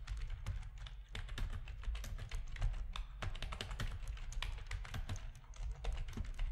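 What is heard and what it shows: Fingertips of both hands type steadily on a full-size black plastic RGB-backlit computer keyboard with a hollow plastic housing, resting on a desk. A fast, continuous stream of short, sharp key clicks and taps, each dying away almost instantly, sits over a constant low, dull rumble that carries most of the energy.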